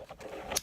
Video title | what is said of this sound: Lip injections, Dior & Natasha Denona Review, & Giveaway Winner Announced! | you shake it and it sounds just like it mixes it all up